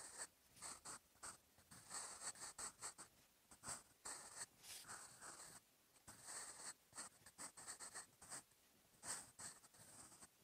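A sharpened wooden graphite pencil, held in the fingers, writes Korean script on the lined paper page of an open notebook lying flat. Short bursts of dry, bright scratching come in quick succession as each stroke drags across the paper, with brief near-silent pauses between them.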